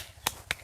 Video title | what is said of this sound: BELI KULKAS BARU BUAT KELUARGA DI NGAWI ⁉️ yang lama kekecilan itupun dulu aku beli pas awal2 jd tkw | suarane diketoki granite tidak kopong sama sekali